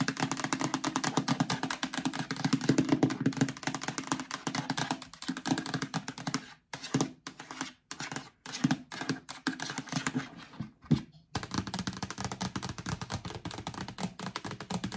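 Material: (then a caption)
Plastic. Long nails tap quickly on the base and side of a hollow, empty yellow plastic storage bin. Dense, rapid clicking carries a hollow, low resonance. The tapping breaks into short bursts with brief silences in the middle of the clip before turning steady again.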